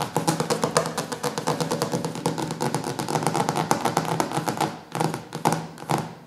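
Fingertips and short nails tap quickly on the glossy laminated cover of a large, solid hardcover cookbook lying on a wooden table. The result is a dense stream of short, crisp taps and clicks, each dying away almost instantly, in an uneven rhythm with brief pauses near the end.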